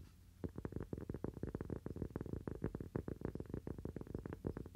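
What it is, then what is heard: Cork coaster. A small, round, thin solid cork coaster is held in both hands and tapped quickly with fingernails. After a brief quiet start, a rapid, steady run of dull, muffled taps follows, mostly low in tone with no ring after each tap and almost nothing bright.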